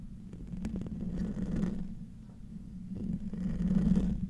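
Short nails scratch the hollow metal mesh grille of a silver condenser microphone, producing a dense, low, rumbling scrape with a steady humming tone around 180 Hz. The scratching swells in the first second and a half, eases off, then builds louder again toward the end, with faint brighter rasps over the muffled low end.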